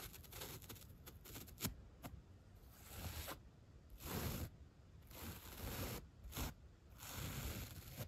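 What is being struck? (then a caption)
Foam block and bottle brush. A bottle brush tip and its white bristles brush along the side and top of a solid 3-inch white upholstery foam block, near its corner and edge. The sound starts with quick, light ticks and scratchy strokes, then turns into longer, broad swishing brush sweeps with a soft, bright hiss.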